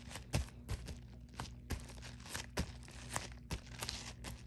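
Long nails scratch and tap the flat face of a white padded poly mailer with a bubble texture. Soft, crinkly plastic scratching runs through the clip, broken by short, dull taps, all over a faint steady low hum.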